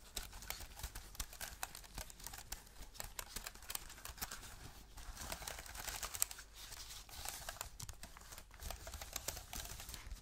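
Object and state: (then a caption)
Aluminium keyboard with plastic keys. Black-gloved fingertips tap an Apple-style wireless keyboard with a thin aluminium body and white plastic keys, held at an angle. Quick, dry clicks and taps patter unevenly throughout, with a bright edge over a low rumble.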